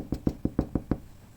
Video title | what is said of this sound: Хліб на залишках закваски Левіто Мадре | чули глухий звук гарний блістерний гарний хлібчик